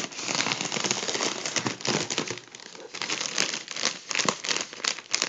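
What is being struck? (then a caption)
Partly deflated mylar foil balloon. Both hands squeeze and crumple a partly deflated gold mylar foil balloon. The result is a dense run of bright, crackly crinkling with almost no low end, swelling and easing in waves with a brief lull midway.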